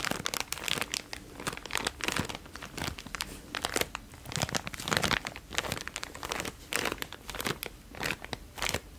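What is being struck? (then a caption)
Small plastic zip-lock bag. A small clear plastic zip-lock bag with dark contents is held in the hand and squeezed and crinkled by the fingertips close to the mic. Dense, bright crinkling and sharp crackles come in irregular bursts for the whole clip, each snap dying away almost at once.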